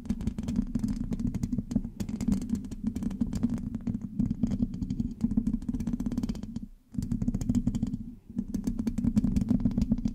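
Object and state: Metal microphone mesh grille.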